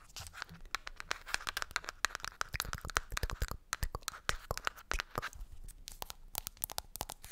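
Long nails scratch and tap the black lid and sides of a medium-sized, round green plastic cosmetic jar. The result is a dense run of sharp, dry clicks and scratchy scrapes with no ring. The clicks carry a bright edge over a thin low thump.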